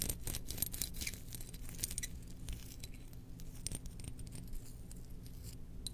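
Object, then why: Small glazed ceramic jar lid. Long nails scratch and tap a small domed, glazed ceramic lid held in one hand, with the jar's base resting untouched beside it. The result is a dense run of bright, short clicks and scratchy clinks over a steady low hum.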